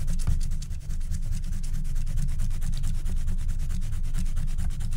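A wooden stylus scratches the black wax coating of a flat scratch-art card near its top edge with quick strokes while a hand holds the card's corner. The sound is a steady, rapid rubbing scrape with a deep low rumble and faint bright scratchy streaks throughout.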